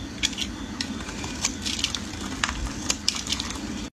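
A metal blade shaves curls from the end of a solid yellow bar of soap held in the hands. A steady, crisp scraping crackle runs throughout, broken by sharp, bright clicks as the blade bites, over a faint low hum. The sound cuts off abruptly just before four seconds.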